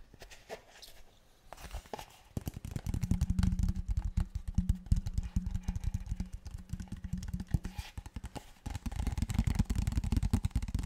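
A large, clear, empty-looking PET plastic water bottle is held horizontally while fingertips tap, squeeze and handle it. Rapid, soft hollow thumps and crinkly crackles come in dense bursts, with a low droning resonance underneath through the middle stretch. After a brief pause the tapping returns in another busy flurry.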